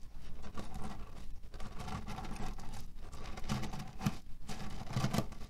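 Fingers tap, press and rub the surface of a cotton fabric pillow filled with cherry stones. The result is a dense, continuous low crunching and rattling of shifting pits, with soft patter-like bursts and brief scratchy rubs. Energy sits mostly below 200 Hz, and each sound dies away quickly.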